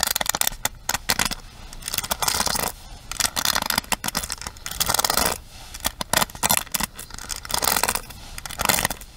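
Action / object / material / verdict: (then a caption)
scrape / plastic paddle hairbrush with bristle pins / plastic / none. Long fingernails strum and tap fast across the bristle pins of a pink plastic paddle hairbrush held upright. Quick bursts of bright, scratchy clicking and rasping come in uneven runs, with short quieter gaps between strokes.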